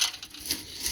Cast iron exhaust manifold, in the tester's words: it rattles you can hear there's a bunch of stuff loose in it